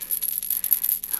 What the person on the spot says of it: you can hear there's little rattles inside